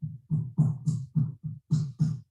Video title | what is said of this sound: Resonance of Rye: Sourdough Rye Baking Workshop with Jeffrey Hamelman | It sounds hollow-ish.